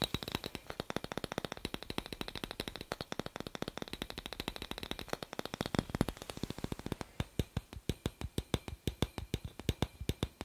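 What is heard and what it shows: A small, hollow, clear glass incandescent light bulb with a metal screw base is held in one hand while the fingertips and nails of the other hand tap and scratch its glass globe close to the microphone. A rapid, dense run of short, dry ticks with a bright edge and almost no ring fills the first part, softening into a faint scratchy wash around six seconds. It then settles into slower, evenly spaced, crisp taps.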